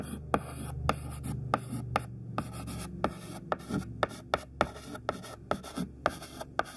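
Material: Chalk.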